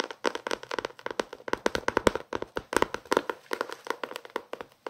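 Fingertips tap and scratch the paper page edges and cover of a small paperback novel. The result is a rapid, uneven run of dry, papery taps with a midrange tone around 480 Hz, each dying away almost instantly, with faint scratchy rustle between them.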